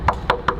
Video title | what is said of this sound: TS10 - Sanding is amazing! | sounds pretty dry in there sounds pretty solid